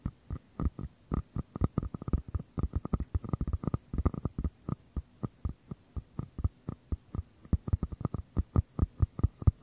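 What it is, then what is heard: Small paper cup tapped. Fingers tap and scratch the outer paper walls of two identical small, empty, hollow paper cups, their open mouths facing the mic. Dozens of quick, dull, hollow taps sound in an irregular rhythm, mostly low and thumpy with a faint ring above, each one dying away almost instantly between soft, quiet gaps.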